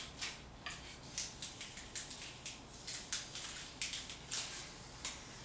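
Thick, flaking paint is peeled off a solid painted concrete wall with fingertips and long painted nails, then scraped with a metal putty scraper. About 13 short, bright, crackly scrapes and flicks sound at a low level, each fading quickly over a faint low hum.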